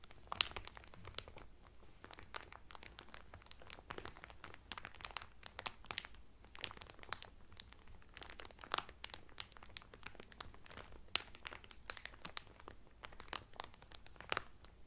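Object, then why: Cellophane-wrapped towel. A folded blue terry Carnival towel, sealed in thin clear cellophane wrap, lies flat on a table while fingertips and medium painted nails press and crinkle the loose cellophane. Dense, bright crackles and sharp snaps sound continuously with very little ring, over a faint low background hum.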